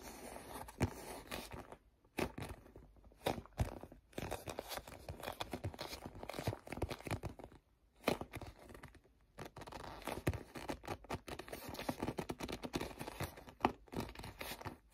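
Both hands grip and rub the surface of a soft, hollow, tan faux leather zippered pouch about the size of a tablet, using sticky fingertips. The result is a dense stream of quiet, crackly, tearing-like peels and crinkles with short, sharp snaps, broken by brief silent pauses.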